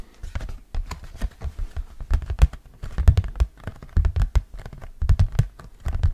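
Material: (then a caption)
Hard plastic. An orange hard plastic flying disc is held in both hands while fingernails tap and scratch across its surface and rim. Irregular, dull, low thumps mix with quick, bright scratchy clicks. Each tap dies away almost at once.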